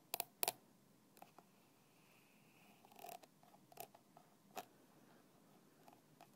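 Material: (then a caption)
Plastic. A thin black stick taps and scratches the red plastic screw cap of a small translucent plastic bottle lying on its side with liquid inside. Several quiet, sharp, bright clicks with almost no ring are spread across the clip, mixed with soft scratchy rustles between them.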